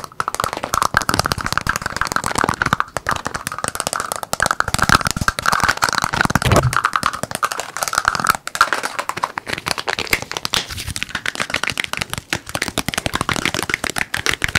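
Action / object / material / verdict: tap / plastic spray bottle / plastic / none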